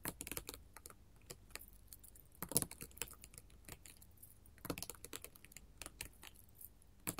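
A flat sheet of small square colored glass mosaic tiles on a table is tapped rapidly with long gold metal filigree finger claws. The result is dense, quiet, sharp clicks that decay almost instantly, with bright ticking on top and a faint low thud beneath, and occasional louder bursts.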